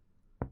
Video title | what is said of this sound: IBC II SEMIOLOGIA RESPIRATORIA | matidez a la altura de la quinta costilla se da por la superposición del pulmón con el hígado